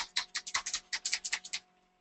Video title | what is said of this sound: Hedlux Airbrush Makeup Training | You can hear the little beads in there. You're going to shake it up, make sure it's good and mixed.